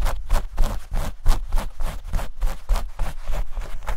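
Long nails scratch and rub quickly across a pair of denim shorts held close to the microphone. The result is a fast, uneven series of rough, brushing strokes, each a short burst of scratchy hiss reaching into the high range over a steady low rumble from handling the fabric.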